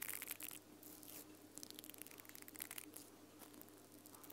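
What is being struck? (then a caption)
Mascara spoolie brush with nylon bristles and plastic handle. Long purple nails scratch and flick the pink nylon bristles of a small mascara spoolie brush with a black plastic handle, held near the microphone without touching it. Quiet, bright, crackly scratching bursts and flicks with almost no low end, over a faint steady low hum.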